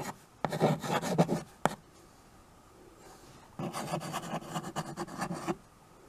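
A white chalk stick writes and scratches across a small tabletop chalkboard, a dark painted board in a wood-look frame. Two bursts of dry, raspy rubbing strokes come through, separated by a quiet pause. The scratching is gritty and midrange, with a faint bright hiss on top.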